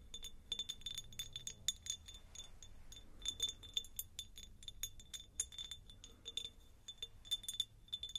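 Long acrylic nails tap a clear, faceted, hand-sized cut-glass jar that is hollow and appears empty. Rapid, irregular bright clinks ring with a thin glassy tone around 3.5 kHz, each dying away almost instantly. The sound is quiet and high, with little low end.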